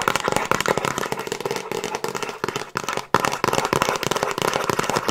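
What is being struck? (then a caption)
Cardboard DVD box set with discs inside. Long acrylic nails give fast, scratchy tapping across the front cover of a handheld Frasier season DVD box set: a hollow box with discs inside, in a glossy printed cardboard slipcase. Dense, dry clicks and scrapes sit mostly in the mids around 1 kHz, with a bright edge and little low end. Brief pauses come near 1.7, 2.7 and 3.1 seconds.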